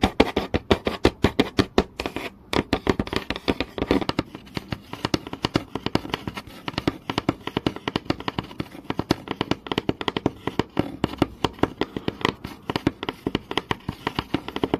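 Fingertips and nails tap and scratch fast across a flat, solid, textured wooden board. The result is a dense stream of short, dry, woody taps centered in the low-mid range, with light scratchy texture between the hits.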